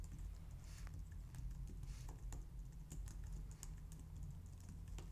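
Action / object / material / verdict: tap / plastic computer keyboard / plastic / none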